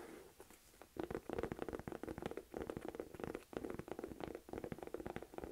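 Fingertips and long nails scratch and tap rapidly on the front of a medium-size, hollow, olive green Michael Kors crossbody purse made of saffiano textured leather. The result is a dense run of short, dull taps mixed with soft scratching, with a muted low-mid tone and almost no ring after each tap.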